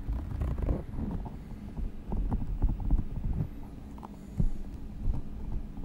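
A palm-sized translucent squishy rubber stress ball filled with green and blue gel beads is pressed and squeezed with fingertips against the microphone. It gives a run of deep, muffled thumps and soft squelches, with almost all the sound sitting low and no bright edge. Short louder presses stand out from a steady low rumble.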